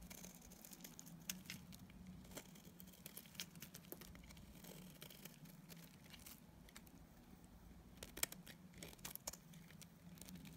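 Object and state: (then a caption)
Bar of dried soap being flaked with a blade. A metal utility blade scrapes and cuts flakes from a solid green bar of dried soap, now worn thinner. Quiet, crisp scraping and crackly, papery flaking ticks with bright edges repeat irregularly over a steady low hum.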